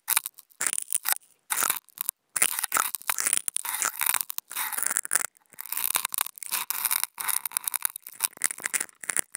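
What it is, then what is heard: Non-woven fabric sheet. A flat white non-woven fabric sheet lying on a table is scratched with two wooden toothpicks held in contact-microphone holders. Short bursts of dry, crackly, bright scraping come in quick irregular runs separated by brief silences, with almost no low end.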